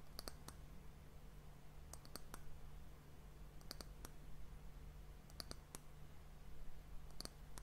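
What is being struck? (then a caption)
Varnished wooden hourglass end cap. Long fingernails tap the flat surface of a solid, varnished brown wooden disc end cap on a glass hourglass. Short, dry, bright clicks come in small quick clusters spread evenly through the clip, each dying away at once. A steady low hum sits underneath.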